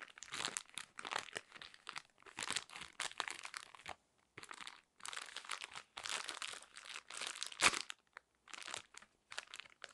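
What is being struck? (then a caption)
Soft plastic bag of cotton pads. A soft plastic bag full of square cotton pads, with a drawstring top, is squeezed and scratched with long nails. It gives off bursts of bright, crisp crinkling and crunching in quick irregular clusters, with short silent gaps. There is almost no low end, and each rustle cuts off cleanly.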